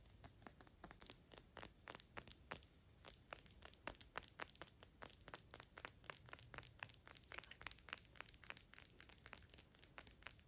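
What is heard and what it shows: Long pink acrylic nails tap quickly on the front glass of a dark black glass Gucci perfume bottle held in both hands. About fifty quiet, bright clicks come in rapid, uneven bursts, each very short with almost no ring, over a faint low background hiss.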